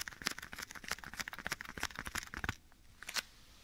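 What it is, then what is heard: Leather glove tapped. Bare fingertips tap and rub the surface of a black leather glove worn on a hand held beside the right ear of a microphone. Quick, dry, bright taps with soft rubbing come in a dense run for about two and a half seconds. After a pause, one last tap follows before it goes quiet.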